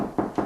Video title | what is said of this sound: Adding a 2nd light switch...removing the existing switch | You can hear a hollowness